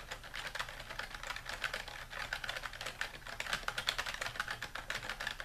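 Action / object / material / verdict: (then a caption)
tap / plastic computer keyboard / plastic / none. Fingertips of both hands type continuously across a dark plastic computer keyboard resting on a wooden desk. A steady stream of quick, bright plastic key clicks with short, dry decay rises and falls in loudness over a faint low background.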